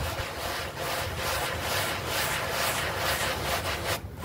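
A bristle brush scrubs a small, foamy green artificial-grass doormat in steady back-and-forth strokes while the other hand pins the mat down. The result is a continuous, broadband rasping and swishing with a bright hiss that pulses with each stroke, about 140 strokes per minute. There is a brief pause near the end.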